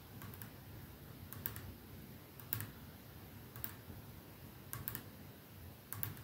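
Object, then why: Glass perfume bottle. A hand taps the clear glass end of a capsule-shaped glass perfume bottle with a silver band, resting on a dark surface, using its nails. Slow, spaced clusters of short, bright clicks fade quickly over a quiet, low background hum.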